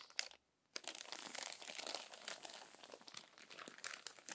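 Fingertips and long nails turn and smooth the crinkled pages of an open glossy paper magazine. A brief tap is followed by a short silence, then dense, bright crinkling and rustling with many sharp crackles continues to the end.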